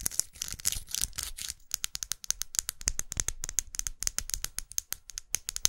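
A small red faceted plastic lipstick tube with a dark band, held upright, is tapped with long acrylic nails. A dense, scratchy rattle in the first second and a half gives way to a rapid run of sharp, bright plastic clicks with almost no ring, and a high tone catches on each tap.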